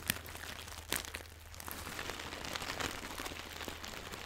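A small floral fabric pouch with crinkly filling is squeezed and rubbed with fingers and long nails close to the microphone. Dense, bright crinkling and rustling runs throughout, with sharper crackles near the start and just before the one-second mark, over a faint steady low hum.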